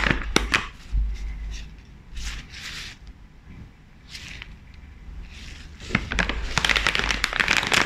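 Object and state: Crinkling foil chip bag.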